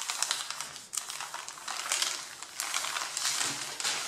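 Fingertips and nails rub and scratch the crumpled top sheet of a thick stack of printed A4 printer paper. A dense, bright crinkling and scratching plays on without pause, full of fine papery ticks and rustles, with a brief lull just before the first second.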